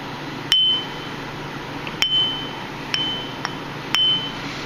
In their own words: You hear a high-pitched ring, that means the wheel is not cracked and that it is all right to use.